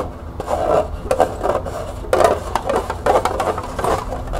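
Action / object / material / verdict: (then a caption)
scrape / small hollow plastic cup / plastic / none. Long nails scratch the bottom and sides of a small, hollow, empty green plastic cup, first upside down on a table and then held in the hand. Repeated short, raspy scrapes with a hollow midrange resonance rise and fall in quick strokes, with little low end and only faint brightness.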